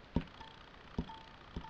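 Three fingertip taps on the metal casing of a Vectron Bluetooth speaker, each a short, dull knock weighted toward the low end that dies away almost at once. A faint thin tone lingers briefly after each tap. The sound is simply the metal casing responding, which is normal.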